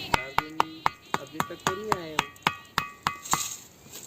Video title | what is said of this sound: एक पत्थर ऐसा भी है जिसे ठोकने पर धातु की आवाज आती है | सिर्फ इस पत्थर पर टोकने पर जैसे किसी लोहे पर टूटने पर आवाजे आती है ठीक उसी तरह इस पत्थर से आवाज आ रही है